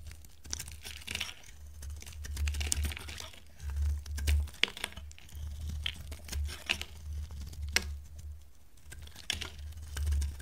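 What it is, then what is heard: Dry bar soap being carved. A metal utility knife blade carves a hand-sized, solid, dry blue bar of soap, peeling off thin curls. Crisp, dry scraping and crackling strokes come through, with sharp bright clicks as the blade bites. A steady low hum sits beneath the carving.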